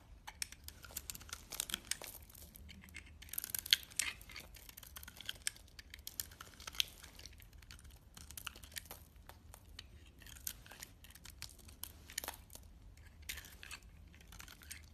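A steel utility blade shaves thin, flaky curls off the top of a solid coral pink bar soap held in the hands. Dense, bright scraping and crackling rise and fall in quick bursts, with little low end.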